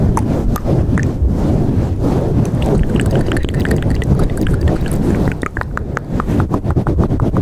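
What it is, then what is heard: Foam microphone windscreen being scratched. Long acrylic nails and fingertips rub and scratch a black foam windscreen over a handheld microphone, close to the capsule. A dense, boomy low rumble of rubbing runs throughout, broken by many short, sharp scratchy clicks that flash up into the bright range. The level stays loud and steady, with only brief dips.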